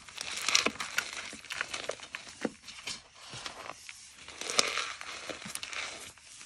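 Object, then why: Magnesium carbonate chalk blocks. Hands with red-painted nails crush and squeeze several white, solid, powdery gym chalk blocks (magnesium carbonate) with fingers and palms in a large black bowl full of loose chalk powder. Bright, dry crunching, crackling and squeaky crinkling come in quick bursts with almost no low end. The blocks break apart into crumbling, squeaky powder.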